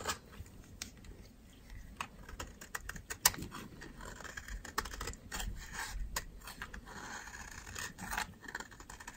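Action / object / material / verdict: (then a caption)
scrape / soap bar scraped with a metal blade / soap / none. A metal utility knife blade scrapes dry flakes off the edge of a solid white soap bar held in the fingers. The result is a series of short, crisp, dry scratching clicks with bright high-frequency texture, plus one sharper, louder snap partway through. Each scrape dies away almost instantly over a faint low background.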